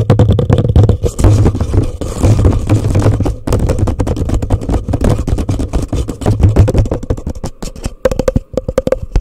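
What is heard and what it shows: A hollow, empty orange plastic cup turned upside down over a microphone is tapped rapidly with long nails and fingertips, producing a dense stream of hollow, boomy knocks and clicky scrapes with a deep resonant thump. Near the end, after a brief pause, a quicker flurry of taps brings out a ringing mid-pitched tone from the cup.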